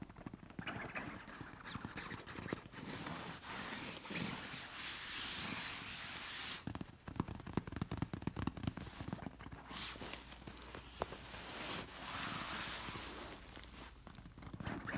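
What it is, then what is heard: Satin pillow, scratched. Long nails scratch and rub across a shiny, soft, stuffed orange satin pillow, giving steady swishing scrapes on the smooth fabric. Quick taps and clicks are scattered through the scratching.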